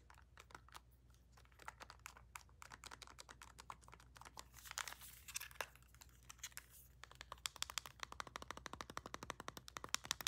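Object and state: Plastic TV remote tapped with nails.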